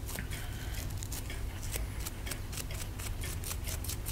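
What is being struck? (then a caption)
Plaster block scraped with a wooden stick. A wooden stick picks and scrapes at a hand-held solid plaster block near the exposed bone. Short, bright, scratchy clicks repeat throughout over a steady low hum.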